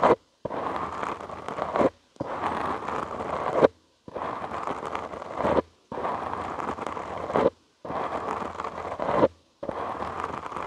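Short nails and fingertips scratch a soft, porous black foam windscreen on a studio microphone. The result is a dense, crackling, rustling scrape that sits mostly in the mids and spreads up into bright hiss. It comes in seven steady bursts separated by brief silences.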